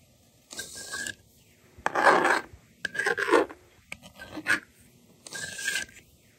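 A yellow plastic stylus scratches numbers onto a handheld plastic toy magnetic drawing board, making five bursts of dry, raspy scraping with bright, hissy edges and quiet pauses between. Near the end, the board's eraser slider is pushed across with a similar rasping sweep.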